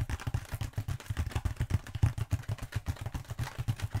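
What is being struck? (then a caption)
Bead foam roller. Long pointed acrylic nails tap rapidly on a long black bead foam roller. The taps come in a quick, uneven patter of soft, dull, low thuds, each dying away almost at once with very little brightness.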